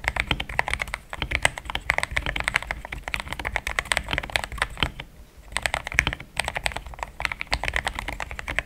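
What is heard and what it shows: Fingertips of both hands type fast on a compact pink-white mechanical keyboard with thick plastic XDA keycaps, a polycarbonate plate and linear switches, resting on a desk mat. A dense stream of short, bright, clacky keystrokes with a low thock underneath runs throughout, broken by brief pauses around one second and five seconds in.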